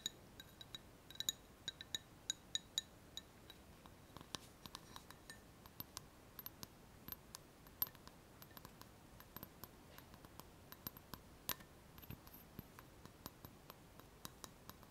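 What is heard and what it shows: An empty, hollow clear glass cup is turned in the hands and tapped with long fingernails, producing a quiet, steady run of many sharp, bright clinks over 15 seconds. Each tap rings briefly with a high glassy tone near 3.8 kHz and decays almost at once.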